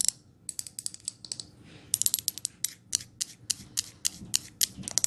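Long nails tap and scratch the lid of a glass jar candle. The result is a rapid, irregular series of short, bright, high-pitched clicks and ticks over a faint scratching hiss, with almost no low end.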